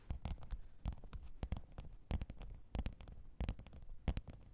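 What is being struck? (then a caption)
Faux leather hard-shell zippered case. Long pointed nails tap and scratch the top of a black, textured faux-leather hard-shell microphone case with a zipper, lying flat on fur. Quick, irregular taps land as dull, low thumps with short bright clicks, and a soft scratching texture runs between them. Each hit dies away almost instantly.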